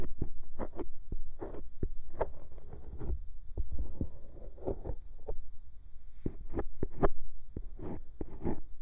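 The scoop tip of a bamboo ear pick scratches and scrapes inside the hollow ear canal of a soft, white silicone binaural microphone ear. It produces close, muffled low thumps and rumbling scrapes, with short, sharp scratchy bursts that flick up into brighter tones over a steady low hum.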